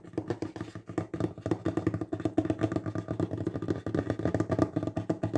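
The fingertips of both hands tap fast on a solid wooden table top. Rapid, uneven dull knocks follow one another, each one short and woody with a low-mid tone and almost no ring.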